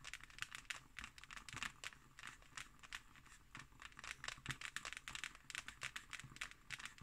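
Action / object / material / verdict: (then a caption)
scrape / textured hardcover book cover / cardboard / none. Long nails scratch and tap across the embossed, textured cover of a closed, thick, solid hardcover book. The result is a quiet, rapid run of short, dry, bright scratches and clicks with a crinkly texture. Each one stops almost instantly.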